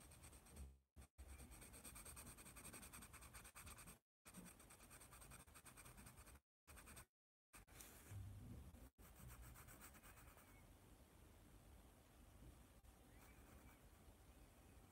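A yellow wooden pencil draws curved strokes on a large white paper sketch pad tilted upright. The contact makes a quiet, steady scratching and rubbing sound with a low, grainy body and a faint bright hiss, broken by a few brief silent gaps.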